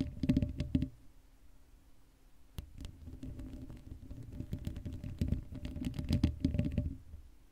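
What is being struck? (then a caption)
Metal mesh microphone grille. Long acrylic nails scratch the sides of the hollow black metal mesh grille of a Blue Yeti microphone. It makes dense, low, thumping scratches with a steady hum underneath, a quiet stretch after the first second, then a long run of rough, uneven scraping taps before fading.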